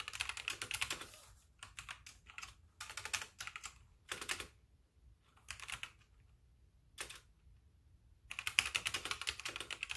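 Fingertips of both hands type continuously on a full-size backlit plastic mechanical keyboard with white plastic keycaps, while the mouse stays untouched. Bursts of quick, bright, clicky keystrokes are separated by short pauses, each hit dying away almost instantly.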